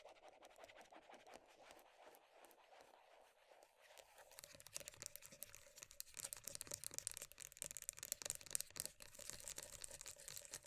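Long nails tap and scratch the top and rim of a black lid on a medium round plastic body butter tub. The first few seconds are a soft, steady scratching with a faint midrange hum. Around the four-second mark it shifts to faster, louder, bright clicky taps mixed with crisp scratches that crackle on to the end.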